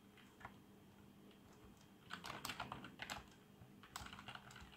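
Fingertips of both hands type on a black plastic membrane keyboard with RGB backlight. Soft, muffled key presses come in irregular bursts, busier in the second half, over a faint steady low hum.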